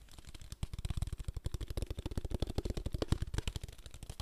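A small clear plastic water bottle is held up in both hands close to the microphone while fingertips rapidly tap and crinkle its thin plastic walls. The result is a fast, steady stream of short, dry, low thumps mixed with faint crinkling.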